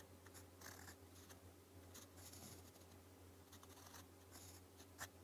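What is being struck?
Metal pen nib on a paper sheet.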